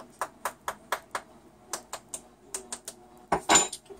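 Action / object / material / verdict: tap / bubble bar dough packed in a plastic mold / plastic, dough / hollow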